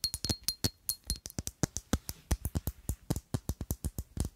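A palm-sized rectangular black glass perfume bottle with a square cap is tapped with long acrylic nails in a quick, irregular rhythm of about 26 separate hits. Each tap is a short, dry clink with a low knock and bright glassy ticks that die away almost instantly.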